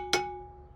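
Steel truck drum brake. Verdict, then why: Released. A steel truck drum brake that has just been adjusted is tapped once to check its sound. It gives a single sharp strike followed by a bright, hollow metallic ring that carries steady tones near 380 Hz and 820 Hz and fades slowly. The hollow ring means the brake is released, as it should be.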